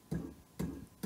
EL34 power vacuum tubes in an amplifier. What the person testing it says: les EL34 sont très microphoniques je sais pas si vous entendez mais quand on tape dessus alors elles sont à changer